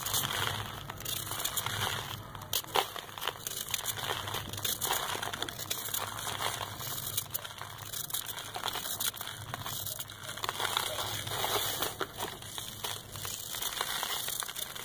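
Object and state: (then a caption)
Packed sand ball being scraped. A compacted ball of dry sand is held in the hand while a metal knife scrapes across its surface, and crumbs fall onto lined paper. The sound is a continuous, dense, bright crackling and crunching scrape. It runs at a fairly steady level, with many small gritty bursts throughout.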